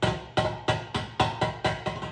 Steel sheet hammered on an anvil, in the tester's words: hear that tinny sound? That means I'm not laying dead on the anvil.